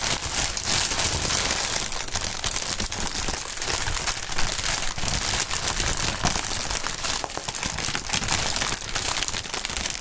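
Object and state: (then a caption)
Plastic air-pillow packaging being crinkled. Clear, hollow, air-filled polyethylene air-pillow packaging is stretched and crinkled by the fingertips of gloved hands. A steady, dense crinkling with bright, crackly texture runs through the whole clip over a faint low rumble, with no pauses or single loud pops.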